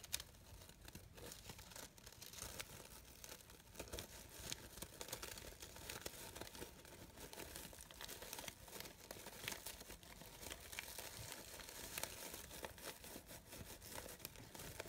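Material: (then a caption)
Organza. A brown-gold organza fabric rose has its petals crinkled and squeezed with fingertips and nails. The result is a steady, dense, crisp rustling and crinkling with many tiny bright crackles, all quiet and close.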